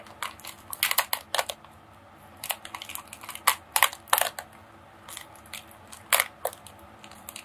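A long roll of silver holographic foil wrapping paper, shaped like a hollow tube and held in both hands, is squeezed and scratched with fingertips and long painted nails. It gives off bursts of sharp, bright crinkling and crunching with very short decay and quiet gaps between them. The foil's crisp rustle stays high and has no low rumble.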